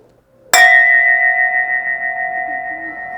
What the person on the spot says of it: เสียงกังวานที่คุณจะได้ยินและความยาวนานของการก้องกังวานนั้น